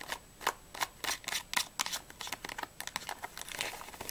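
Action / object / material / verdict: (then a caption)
tap / small printed cardboard candy box / cardboard / none. Long nails tap quickly on the front, sides and edges of a small, closed, hollow printed cardboard Ahoj-Brause candy box whose contents are not visible. About twenty short, dry, papery clicks come in an uneven rapid run. They are bright and light with almost no low end, and each dies away almost at once.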